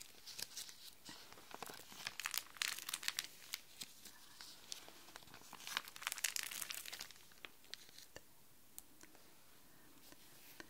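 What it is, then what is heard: Plastic sheet protector pages. Hands with long nails press, rub and scratch across the empty, clear, thin plastic sheet protector pages of an open pink display folder lying flat on a desk. Bright, crisp crinkling and scratching come in dense, irregular bursts, then thin out to a few sharp clicks and rustles toward the end.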